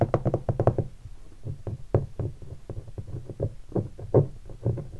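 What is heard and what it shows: Fingertips and a single finger tap on a hollow guitar hard case covered in black leatherette and vinyl stickers. A quick flurry of taps opens the clip, followed by steadier scattered taps. Each tap is a short, dull, hollow knock with a low body and almost no bright top, dying away almost instantly.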